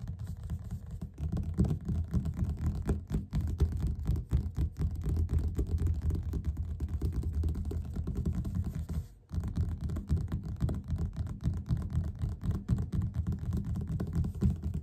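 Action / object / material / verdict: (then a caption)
tap / paperback book cover / paper / none. Fingertips and short nails of both hands tap fast on the front cover of a yellow paperback copy of *The Power of Habit* lying flat and solid. The result is a dense, uneven patter of soft, dull taps, mostly low and muffled with almost no brightness. It runs steadily for about fifteen seconds, with a brief drop out around the nine-second mark.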